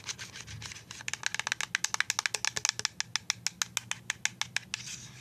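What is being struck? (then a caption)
Plastic liquid soap pump bottle. A full white plastic liquid soap pump bottle is tapped with paper-clip-covered nails, giving 29 quick, sharp, bright clicks in a steady rapid run. Soft scratchy rustling is heard before and after the tapping.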